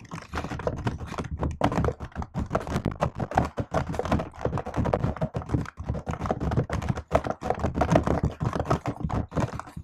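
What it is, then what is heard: Laptop keyboard with plastic keys. A laptop keyboard with plastic keycaps and a metal body is typed on with fingertips and long nails, giving a fast, steady run of short, dull clicking taps. Each tap is muffled and low-heavy with very little brightness, and it dies away almost at once.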